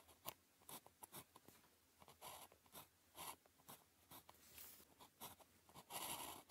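A blue plastic ballpoint pen tip scratches across a thin grid-printed calligraphy practice sheet lying flat on a desk, with the pen held in the fingers. Quiet, dry scratching strokes come in short bursts with brief pauses between them, bright and papery with little low end. A longer stroke closes the clip.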